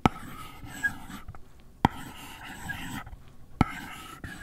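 A gloved hand scratches and taps the lid of a closed, long, flat white cardboard product box, hollow and apparently empty, lying on a fluffy rug, using the plastic tip of an Apple Pencil. Sharp, dry taps cut through a steady soft scratching hiss, with three strong hits standing out clearly above the rest and dying away almost instantly.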